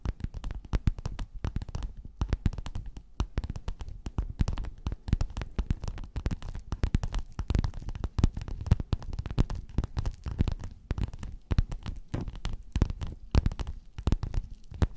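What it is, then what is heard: Quilted faux-leather cover. Long nails scratch and tap a flat, padded, gold, quilted metallic faux-leather cover. Dense, rapid soft taps and scrapes run continuously, sounding dull and muffled with mostly low, thumpy energy and almost no brightness. Each tap dies away almost instantly.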